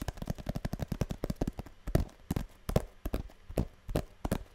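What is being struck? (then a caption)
Small printed cardboard box. Long nails tap and scratch the surface of a small, hollow blue printed cardboard box, the kind perfume or cosmetics come in, held close to the mic. The result is a quick, uneven run of soft, dull, low-pitched taps that stop short with no ring, with faint scratchy rustle between them.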